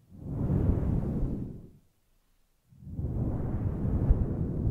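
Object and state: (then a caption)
Faux fur microphone windscreen being stroked. Long nails and fingertips stroke and scratch a grey, fluffy faux-fur microphone windscreen. This makes a deep, muffled rustling rumble that swells and fades, drops to silence for about a second, then returns and continues to the end.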